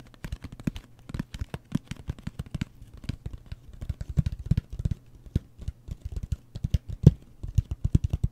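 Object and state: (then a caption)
Cardboard box. Fingertips tap quickly across the surface of a closed, hollow cardboard gift mailer box with a wood-grain print. The taps are short, dry and dull, with a low hollow knock that dies away almost instantly. They come in an uneven, rapid flurry over a faint steady low hum.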